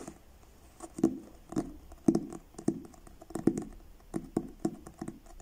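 Fingertips and short nails tap the blue card cover of a paperback book in a slow, uneven rhythm. Each tap is a soft, dull thud centred low in the mids, with a faint bright click from the nails. The sound dies away almost instantly against quiet background hiss.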